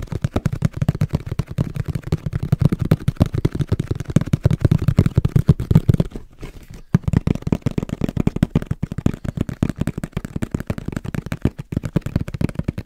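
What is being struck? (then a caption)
Cardboard camera box. A camera box is tapped rapidly with the fingertips, making a dense stream of short, dull, low thuds with very little brightness. The tapping pauses briefly just past the six-second mark, then resumes at the same quick pace.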